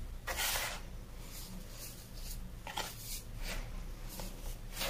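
A large heap of loose teal-dyed baking soda powder in a white plastic bin is scooped, rubbed and sifted through the fingers, then fingertips are dragged through the flattened surface. Soft, airy hissing bursts of grainy crunch rise and fall over a steady low hum.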